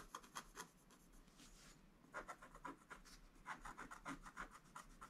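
A wooden stylus scratches across a flat, black-coated scratch art page, the hand moving quickly. It makes a quiet series of short, dry, rasping strokes with a bright scratchy edge. Each stroke stops sharply with no ring.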